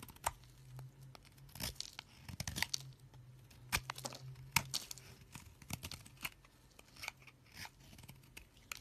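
A knife scrapes and shaves the surface of a solid green soap bar held in a hand with long nails, piling shavings on the fingers. Crisp, bright scraping and crackling strokes come in quick bursts over a faint, steady low hum.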